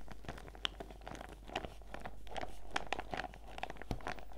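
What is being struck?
Clear PVC zip pouch full of sachets.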